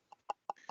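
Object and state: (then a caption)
Hollow thin-walled wooden turning. Four quick taps on a thin-walled turned wooden piece, about 6–7 mm thick in the middle, each giving a short, hollow knock centered near 820 Hz. The taps die away almost instantly, and the hollow tone reflects the piece's thin wall.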